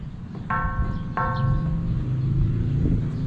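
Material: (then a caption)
Metal. An old metal church bell in the Bantay bell tower, said to date from 1591, is knocked twice. Each knock gives a bright, ringing tone with stacked overtones that fades over about a second. A steady low rumble runs underneath throughout.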